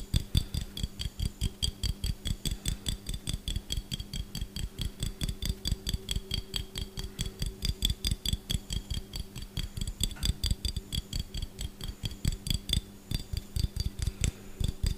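A small, empty, hollow clear glass jar with a gold metal lid is tapped quickly with fingertips and nails on both the glass and the lid, close to the mic. Around seventy fast, uneven taps land at roughly two per second, each a dull low thud with a bright, clicky glassy tick that dies away almost instantly. A faint steady low hum sits underneath the tapping throughout.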